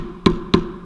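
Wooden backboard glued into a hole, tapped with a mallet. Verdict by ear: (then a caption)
Solid. A mallet taps twice on a wooden backboard glued into a hole, giving two short, low, solid thuds with almost no ring. The thud rather than a hollow sound shows the backboard joint is now fully seated.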